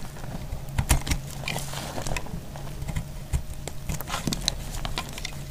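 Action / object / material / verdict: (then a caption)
scrape / bar of soap / soap / none. A box-cutter blade cuts and scrapes a hand-held solid bar of dried white soap, shaving off curls. Dry, crackly scraping is broken by short, crisp snaps with bright, high edges. A steady low hum runs underneath throughout.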